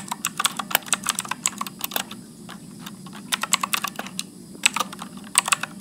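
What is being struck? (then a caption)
Mechanical keyboard with plastic keycaps. Fingertips type continuously at medium speed on a backlit Motospeed mechanical keyboard with blue switches and plastic keycaps. Bright, sharp clicks come in quick bursts, with a brief lull midway over a low, steady background hum.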